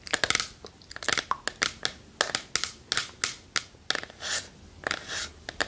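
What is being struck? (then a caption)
Small wooden chest. A small hollow wooden treasure chest box is held in both hands while long nails tap and scratch its lid and front. The result is a quick run of sharp, bright, dry taps mixed with short scraping scratches.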